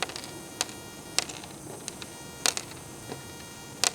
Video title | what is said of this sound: Catch Cook Freshwater Drum Sheep Head Gaspergou | it feels and it sounds like ceramic